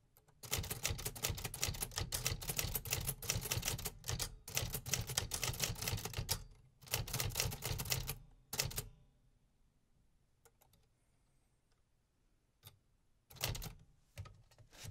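A vintage Remington metal typewriter from the 1950s is typed on with steady fingertip strokes, and each key and typebar strike lands as a sharp, bright clack over a low thump. Dense bursts of rapid strikes fill the first eight seconds with brief pauses between runs. The typing then falls mostly quiet before a few scattered strikes and a final short burst near the end.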